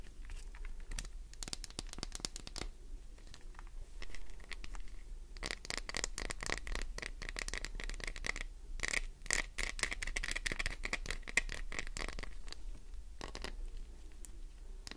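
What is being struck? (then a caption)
Glycerin soap bar. A solid green Duru glycerin soap bar is scratched with long nails, making dense, fast, crackly scratching and tapping. The clicks form a steady bright rasp with a tone near 2 kHz, with brief quieter pauses and a low hum underneath.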